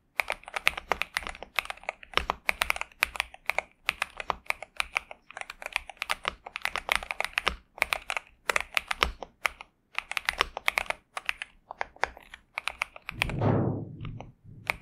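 A pink and purple 65% Xinmeng M71 mechanical keyboard with TTC Superman and plastic keycaps sits on a desk mat while both hands type continuously with their fingertips. The result is a steady stream of quick, bright, short clacks in uneven bursts with brief pauses. Near the end comes a louder, broader swell with a low rumbling body.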